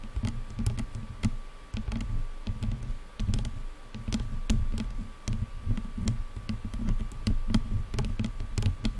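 Long nails tap rapidly on top of the black padded plastic headband of over-ear headphones. Quick, dry clicks patter over a dull low thumping, with a faint steady tone underneath.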